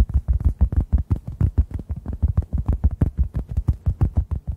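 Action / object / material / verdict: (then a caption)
tap / synthetic foam sponge / foam / none. A hand-sized, solid, yellow-orange synthetic foam sponge is tapped with fingertips close to the microphones. About 29 soft, muffled thumps come in a quick, loosely regular rhythm, deep and boomy with almost no high end, and each one dies away instantly.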